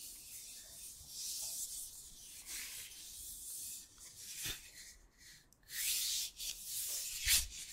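A long, flat, solid wooden spatula of kitchen-utensil size is held in a man's hands and rubbed slowly close to the microphone. The result is a soft, bright, hissing rub-and-sanding texture, mostly high in pitch, that swells and fades in long strokes with brief quiet gaps. One sharper scrape comes near the end.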